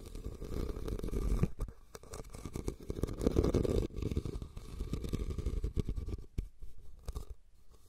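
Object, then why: Woven rattan basket. A red woven rattan basket, hollow and empty and turned upside down over the recorder, is scratched and tapped on its woven sides with fingertips and nails. A dense, muffled stream of low, rough scratching runs throughout, with rapid soft taps and brief quieter gaps. Almost nothing reaches the high range.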